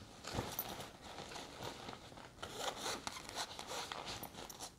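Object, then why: Nylon fabric backpack with zipper. Long red nails scratch and rub the surface of a large, hollow grey nylon sports backpack with a white zip pocket and logo, and the zipper area is handled. The result is a steady, bright, scratchy rustle of fabric with quick, zipper-like bursts that rise and fall throughout.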